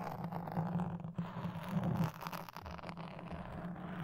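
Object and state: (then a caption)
Foam microphone windscreen being scratched. A toothpick scratches and pokes the surface of a black foam microphone windscreen, giving soft, continuous scraping and rustling. The sound is low and muffled with a steady hum-like tone around 160 Hz, has almost no bright content, and fades briefly before the scratching resumes.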